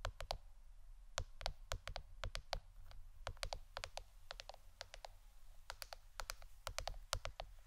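A plastic board shaped like a shirt is tapped with the fingernails for ASMR. A quick, uneven run of short, dry, bright clicks sounds over a low, steady hum.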